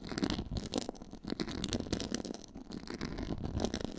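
Long nails scratch from the sides across a black quilted, pyramid-textured faux leather board. The result is a steady, dense rasping, mostly low and mid in tone, with brighter scratchy flicks running through it and no clear pauses.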